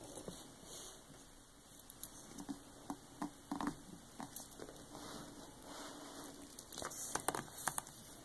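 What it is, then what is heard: Hardcover book with glossy dust jacket. Long acrylic nails and fingertips of both hands tap and scratch across the glossy printed paper dust jacket of a large hardcover art book lying flat and closed. Quiet, irregular, sharp clicking taps mix with soft papery scraping and a bright, hissy texture, with a few louder taps standing out.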